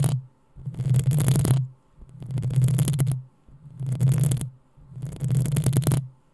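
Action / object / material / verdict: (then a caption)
scrape / metal mesh microphone grille / metal mesh / none. Long nails scratch the hollow metal mesh grille of a black desktop microphone in repeated slow strokes. Each pass gives a deep, boomy rumble around 130 Hz under a bright, gritty rasp. The strokes are separated by short near-silent gaps.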